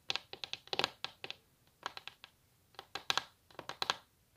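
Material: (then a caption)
Wood. Long natural nails tap fast and scratch across a solid varnished wooden tabletop. About 18 bright, crisp clicks come in quick clusters separated by short pauses, each dying away almost instantly, with almost no low end.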